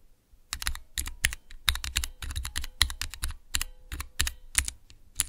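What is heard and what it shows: A small Cherry MX mechanical switch tester with clear plastic keycaps is pressed quickly with the fingertips of both hands. Fast, overlapping clicks and clacks come in bursts, each with a bright snap over a low thock, and die away almost at once.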